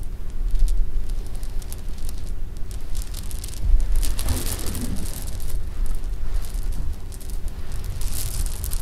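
Fingertips and nails scoop and rub through a pile of small, solid jelly beans with a hard sugar shell resting on pink fabric, then let them drop so they clatter. Soft, bright clicks and rattles sit over a steady low rumble, with a denser burst of clattering near the middle of the clip.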